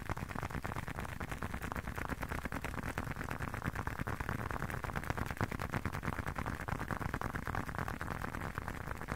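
A closed, hand-sized blue leather long wallet is tapped and scratched with fingertips. The result is a steady stream of quick, soft, dull taps and scuffing scratches, low and muffled, with almost no brightness and no ring after each touch.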